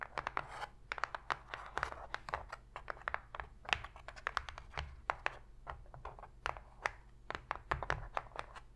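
Long pointed pink fingernails rapidly tap and scratch the bottom of an empty, open white cardboard box tray, whose hollow body makes each contact sound dry and papery. A fast run of sharp, bright clicks mixes with raspy scratching and dies away almost instantly, over a low steady hum.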